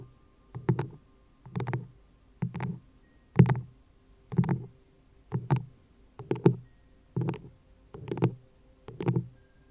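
A hollow, empty frosted green plastic cup sits upside down over the microphone and is tapped and scratched on its sides with long nails. About ten short bursts come roughly once a second, each a quick double tap with a brief scratch, producing low, hollow, muffled thuds with a bright clicky edge that die away almost at once.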